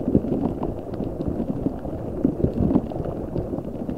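A large translucent rubber spiky ball filled with gel water beads is squeezed and rubbed with fingertips over the mic. It makes a dense, continuous wet squishing and crackling, concentrated in the low and middle range with little brightness. Brief squelchy pops rise out of the steady texture throughout.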